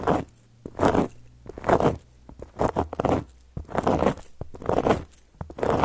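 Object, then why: Flat cork board. Long gold metal claw nail caps slowly scratch and trace across a solid, round, flat cork board. Dry, rasping strokes swell and fade in uneven bursts, broken by a few sharp little taps and short near-silent pauses.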